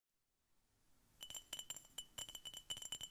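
A glass Coca-Cola bottle is tapped repeatedly, giving eleven quick, bright, glassy clinks with a short ring near 3 kHz and a higher overtone. Faint low background noise comes first, then the taps grow louder and come in an uneven rhythm.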